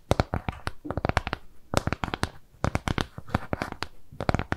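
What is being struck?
Flat round kraft cardboard piece tapped and scratched with fingernails.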